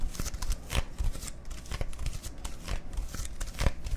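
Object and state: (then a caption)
Plastic soda bottle. A dark-labelled Dr Pepper plastic bottle of about 0.5 L is held in the hands and tapped and scratched with fingertips and nails. Rapid, irregular soft thumps with a dull low body mix with crisp, bright scratching and ticking. The taps die away almost at once.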